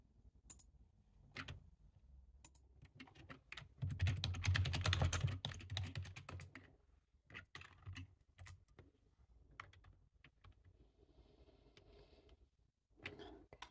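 Fingertips of both hands type on a black low-profile plastic computer keyboard with a hollow body, resting on a table. Scattered bright, clicky key taps with a low thump build into a dense, rapid flurry around the middle, then thin back out to irregular single taps and short runs.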